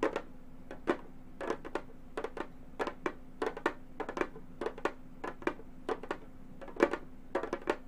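Long gold metal finger claws tap a round, hollow Remo frame drum with a synthetic head. They produce an irregular series of short, dry clicking taps with a mid-pitched knock, bright metallic edges and almost no ring. The taps come in quick clusters over a faint steady background.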